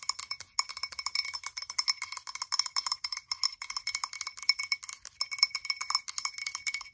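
Long acrylic nails tap rapidly on the sides and rim of a blue frosted glass candle jar with its lid off. The result is a fast, continuous stream of bright, clicky taps with almost no low end and very short decay. A faint high glassy ring hangs under the clatter.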